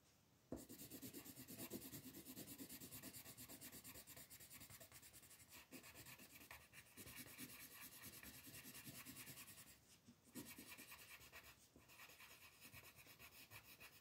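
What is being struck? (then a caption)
Colored pencil on a paper coloring book page. An orange colored pencil rubs in short strokes across a thin white coloring book page lying flat, coloring in a bunny. It makes a steady, quiet, bright scratchy rasping that continues with brief pauses.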